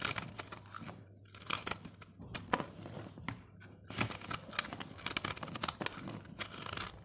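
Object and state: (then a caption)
Dry soap bar being shaved. A utility knife blade shaves and scrapes the surface of a solid, dry orange soap bar held in gloved fingers, sending crunchy curls piling up below. Dry, bright crunching and scraping come in quick bursts separated by short quiet pauses, with little low end.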